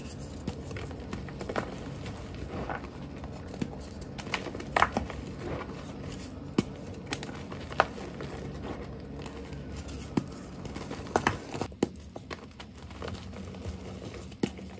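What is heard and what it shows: A solid blue dyed gym chalk block, held in one hand, is crushed and crumbled with the fingers and palm into chunks and powder over a pile of chalk dust. Soft, dry crunching and gritty crackling run steadily beneath scattered sharp, short snaps as pieces break off, with no ringing after each break.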